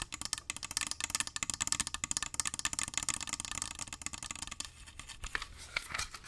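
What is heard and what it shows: Fingernails rapidly tap and scratch a small glass perfume bottle with liquid inside, partly hidden behind the microphone. A dense run of quick, bright, clicky taps and scratchy strokes fills the clip. It thins into softer scratching near the end.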